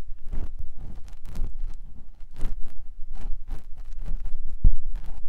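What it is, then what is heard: Silicone ear being scratched. A clear silicone ear pick with a yellow handle scratches inside the ear canal of a white silicone ear mounted on a binaural microphone block. The result is a series of close, muffled rubbing and scraping strokes dominated by deep low rumble, with brief bright hissy edges on some strokes. A sharper thump lands near the end.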